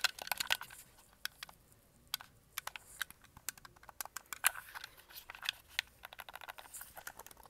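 A white and red hollow plastic Xbox controller is held in both hands while fingertips tap its shell and press its buttons and triggers. Many quick, dry, bright clicks and taps come in irregular bursts, with almost no low end and very short decay.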